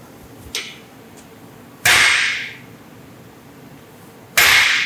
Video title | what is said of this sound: Saving A BLOWN UP 327 Small Block Chevy From The SCRAP PILE | Sounds pretty solid to me. So it's solid. It's solid. Listen to it the way it Rings.